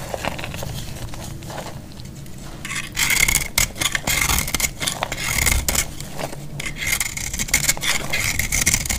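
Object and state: Dry bar soap being scraped.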